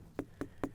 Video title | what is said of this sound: I’m So Happy with My Watermelon Harvest!!! 🌿 🍉// Garden Answer | you want to look for like a low hollow sound not something that just falls flat like a like a higher pitched tinny sound this one sounds really good